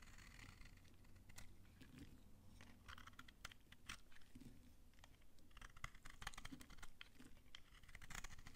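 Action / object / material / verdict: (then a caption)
scrape / bar of soap shaved with a knife / soap / none. A utility knife shaves curls off a solid, dry pink soap bar held in the hand. Many dry, crunchy scrapes and crackles come in quick bursts over a low, steady background rumble.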